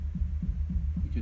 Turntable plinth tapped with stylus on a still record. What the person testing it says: You can hear that coming through the speakers quite a lot less than you would in a lot of turntables.